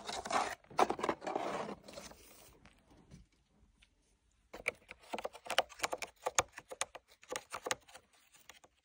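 Fingertips and nails work over a hollow black tooled leather sword sheath with gold lines and metal rivets, tapping its body and riveted top section. Dry, broadband scratching and rubbing fills the first couple of seconds, then fades to near silence. After that come quick, uneven, keyboard-like taps, each short and crisp with almost no ring.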